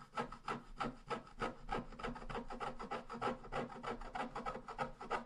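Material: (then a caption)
Coated paper. A wooden stylus scratches back and forth along the bottom border of a thin scratch art paper sheet lying flat. Quick, fairly steady raspy strokes, about three per second, each a short dry scratch with a papery midrange rasp and a faint bright hiss, with no ring after each stroke.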